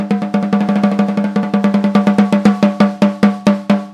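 A Pearl Sensitone 14x5 hollow brass-shell snare drum with a white coated head is struck on the head with a wooden drumstick, in single strokes and rolls. About 25 hits start as a quick roll and spread out into slower single strokes. Each hit is a sharp crack with a short ring centred near 207 Hz.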